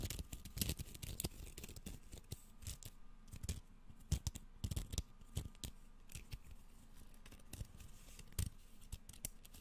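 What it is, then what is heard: Bamboo sushi rolling mat. A flexible bamboo sushi rolling mat, hand-to-forearm sized and made of thin bamboo slats tied with string, is held, scratched and flexed with fingertips and nails, first flat and upright, then rolled into a hollow tube with fingers run along the slats close to the microphone. Quick, dry clicks and scratchy rattles come in dense bursts, each with soft low thumps and a bright crackle that dies away almost instantly.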